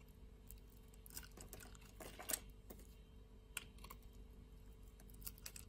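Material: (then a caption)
Soap. A metal utility-knife blade scrapes flakes and curls off a solid purple bar of soap held in the palm. The sound is a quiet run of dry, bright scraping ticks and soft crackles, with a few sharper clicks standing out over a low, steady background hum.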